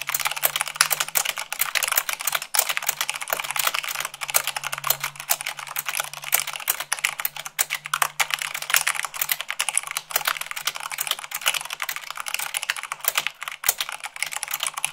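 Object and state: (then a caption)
Mechanical keyboard being typed on. Fast typing with fingertips and long nails on a mechanical keyboard with white plastic keycaps on a black base, at about 98 words per minute. A dense, steady stream of bright, crisp plastic clacks with very short decay, over a faint low hum.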